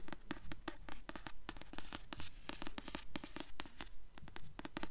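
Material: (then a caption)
Paper. A blue *Delirium* hardcover book is held upright while long nails tap and rub its glossy paper dust jacket. A quick, fairly steady run of crisp clicky taps, each with a bright edge and a soft low body, dies away almost at once, with faint scratchy rubbing in between. The book sounds solid.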